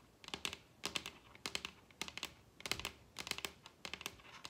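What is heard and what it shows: Long red acrylic nails tap the surface of a large, solid wooden dining table with both hands. About twenty sharp, bright clicks come in quick irregular bursts, centred near 3 kHz with very little low end. Each click dies away almost instantly.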